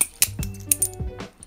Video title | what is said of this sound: Nabalis Marbles - The Most Versatile Trainer? - Unboxing & First Impressions | you can actually hear the marbles rattling as you flip this thing